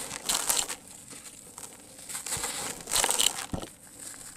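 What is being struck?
Sand-cement lumps.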